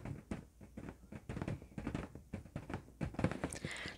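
Fingertips and nails tap and scratch the surface of an inflated, hollow red LED-lit latex balloon held in both hands. The result is a quiet, irregular patter of soft, low, dull thumps with very short decay, mixed with faint scratchy rustles. A brighter scratching swell comes near the end.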